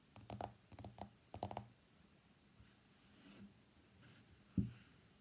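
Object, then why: Smartphone glass screen and back. Fingernails tap the glass screen of an iPhone X lying on a mat, then the phone is flipped and its white glass back is tapped. The sound is quick, dry clicks in short clusters over the first second and a half. After a quiet stretch, one louder, duller knock comes near the end.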